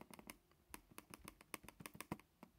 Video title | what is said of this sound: 2019 HP Pavilion Gaming Laptop Overview and Quick Review | that's a click and then that's just tapping it so you can hear the trackpad is a little bit hollow